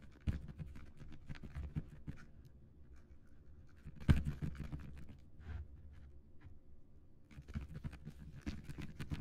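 Fingertips scratch and tap the printed surface of a long, flat cardboard box for a "Kitchen herbs" planter kit (parsley, oregano, chives) lying flat on a wooden surface. The result is a quiet, dense run of dull, low scratches and soft taps, with one sharper, louder tap partway through and a busier patch of scratching at the end.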